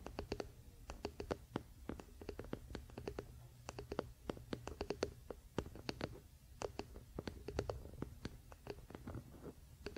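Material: Wood.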